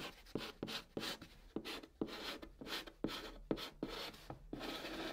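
A white chalk stick held in the fingertips writes Korean letters on the hollow top of a large, flat brown cardboard box. Short scratchy strokes with soft taps at their starts give a dry, bright rasping sound over a faint hollow body, each stroke stopping quickly with almost no ring.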